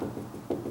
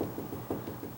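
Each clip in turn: First: A low, papery knock near 350 Hz that dies fast: the hollow lower part of a wooden door. Second: A few short, dull knuckle knocks around 300 Hz on a wooden door, at a spot that is solid.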